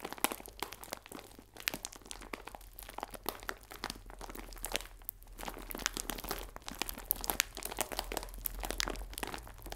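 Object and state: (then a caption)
Plastic bag of biscuits being crinkled. A clear plastic film bag full of biscuits is squeezed and crinkled with fingertips, giving dense, bright crackling and crunchy snaps. The crinkles come in quick clusters over a faint steady low hum and stay close and dry for the whole clip.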